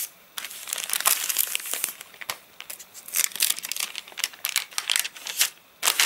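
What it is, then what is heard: Stiff rain-dried paper pages. Fingertips rub, flex and crinkle the thin, wavy, stiff rain-dried pages of an open paper catalogue lying flat on a surface. Dense, bright crackling crinkles come in bursts separated by brief quiet pauses, with almost no low end.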